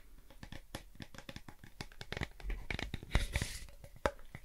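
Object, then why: Foil-lined cardboard crisp tube. A blue Pringles crisp can, a tall hollow composite cardboard tube with a foil lining, is turned in the hands and tapped or scratched with fingertips and nails close to the microphone. A quiet run of short, dry crinkling scratches and soft taps carries a papery, tearing texture over a dull low body. A brighter, rougher scrape swells around the middle, and a sharper tap lands near the end.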